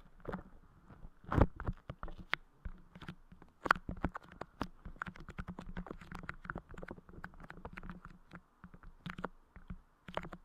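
Fingertips press and tap a freshly placed dome of clear putty clay sitting on the grille of a Blue Yeti microphone head. Quiet, dry taps and soft sticky squishes come in an irregular patter, with low muffled thumps under occasional bright clicks. Each hit dies away almost instantly.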